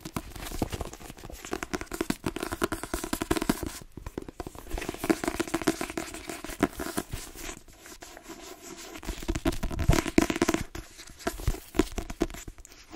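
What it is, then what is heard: Paperback book with card cover. A hand-held, solid yellow-green paperback book (Queenie) with a card cover is rapidly tapped and scratched by long nails across its cover. The result is a dense, continuous stream of quick, dry clicks and scratchy rustles with a low papery thump, each hit dying away almost instantly without ringing, rising and falling in intensity throughout.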